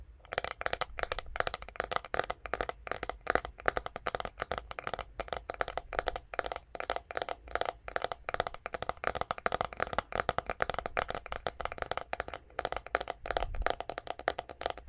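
Long nails tap rapidly on the flat, hollow back of a white plastic paddle hairbrush held close to the microphone. The result is a dense run of short, dry clicks with a hollow, mid-pitched plastic tone. The clicks stop almost instantly and keep a steady, quick rhythm throughout.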